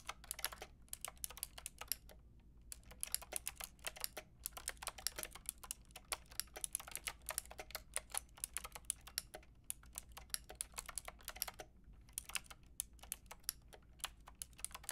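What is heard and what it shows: Long painted nails and fingertips type on a white and pink Lofree mechanical keyboard with round plastic keycaps. Quick, bright clicking taps come in bursts with brief pauses over a faint low hum.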